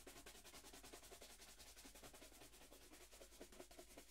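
A single hollow black leather dress shoe, held in one hand, is brushed back and forth with a wooden-backed bristle shoe brush held in the other. Quick, steady scrubbing strokes make a bright, bristly hiss over a hollow, knocking mid-pitched tone. The strokes repeat at a brisk, slightly uneven pace throughout.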